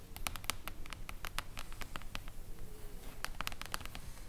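Long acrylic nails tap quickly and unevenly on the silver mirror-foil cover of a flat, solid hardcover book. Each tap is a short, bright click that dies away at once, over a steady low background rumble.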